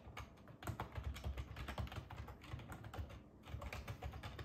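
A black ergonomic plastic computer keyboard with a hollow body and keys, resting on a wooden table, is typed on with fingertips throughout. Rapid, overlapping key taps give hollow, low thuds under short, bright clicks that die away almost instantly, forming a steady busy patter.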